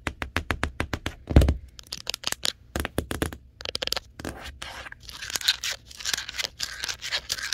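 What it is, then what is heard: Hollow cardboard box. Long nails tap rapidly over the printed text panel of a large, hollow printed cardboard TV box, each hit a short, dry knock with a low, hollow thump. Partway through, the tapping gives way to longer, bright, raspy scratching across the printed surface, mixed with lighter taps.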